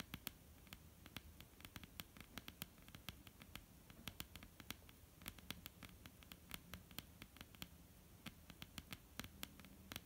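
Long, almond-shaped painted nails tap and lightly scratch a flat, solid wooden tabletop. Quick, irregular, dry clicks with bright tops die away almost instantly. A soft, low scratchy rustle runs quietly underneath throughout.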